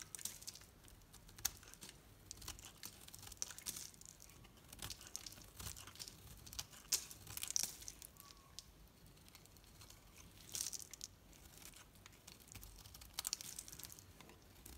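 A knife blade shaves strips off a solid green painted bar soap with a dark rim, held in the hand. It makes quiet, bright, crisp scraping and crinkling sounds in short bursts, with a few sharper peaks among steady soft shaving.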